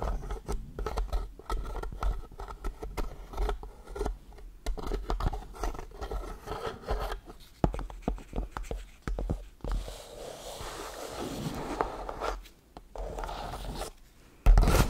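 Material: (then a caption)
Wood. Long blue paper nails tap and scratch at a small rectangular block of striped laminated wood, layered light and dark, held close in front of the mic. Quick dry clicking taps run together with soft scraping strokes, settling into a steadier rubbing scratch in the middle before a final sharp tap at the end.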